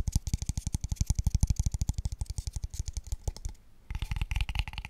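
A small, empty, light, pale wooden square tube box is tapped very fast with fingertips and nails. This produces a rapid run of short, hollow, low thuds with bright clicky ticks on top. After a brief pause near the end, the tapping resumes with a brighter, clickier tone.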